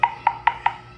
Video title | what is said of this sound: Pure Tile Adhesive for Tile Installation. Hindi nag dry pack para siguradong walang kapak. | Pagka ganyan yung tunog niyan, meaning niyan hollow.